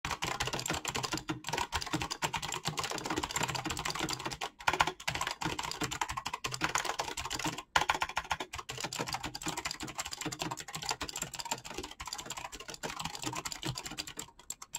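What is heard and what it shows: Fingertips with short painted nails type rapidly on a full-size black Razer BlackWidow mechanical keyboard with clicky green switches, pink-blue PBT plastic keycaps and hollow key housings. A dense, continuous stream of sharp, bright clicks and clacks runs throughout, centered around 900 Hz. Each keystroke dies away almost instantly, with only a few brief pauses in the fast typing.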